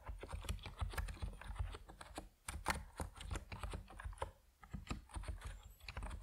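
Steady typing on an Epomaker NiZ Plum Atom 68, a compact plastic mechanical keyboard with white and purple PBT keycaps, as fingertips press the keys. Each keystroke gives a short, muted clack with a deep low thump and little brightness, and there are brief pauses between bursts of typing.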